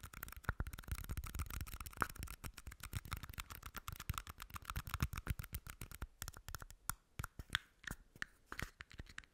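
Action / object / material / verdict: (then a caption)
scrape / small plastic cups / plastic / none. Two small empty red plastic party cups are scratched with nails, rubbed, and clicked together, making a dense stream of quick, dry scratches and taps. The sound is quiet and crackly, with a faint plastic tone around 1.3 kHz. It thins into sparser, separate clicks over the last few seconds.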